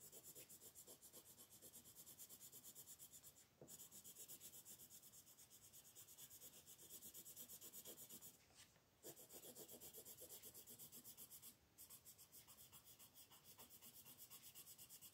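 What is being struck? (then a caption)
Wooden colored pencil on a paper sheet over a wooden table. A light blue wooden colored pencil shades the body of a figure on a paper coloring page, a flat sheet lying on a wooden table with a spare pencil resting still on it. The fast, scratchy strokes make a steady, bright rasping with a few brief pauses.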